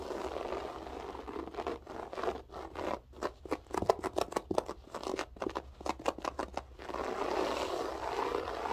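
Long acrylic nails scratch fast with both hands across a flat beige floor carpet with a textured loop pile. A soft, steady rustling at the start gives way to a quick run of sharp, dry scratching strokes, each cut off with almost no ring. It then settles back into a continuous low rustle.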